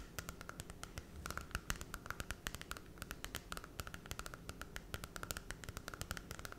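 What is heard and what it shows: Long red nails scratch the glossy holographic cardboard cover of a small Cinderella children's book and riffle along its edges. A rapid run of short, dry clicks and bright scratchy ticks plays over a soft low rumble.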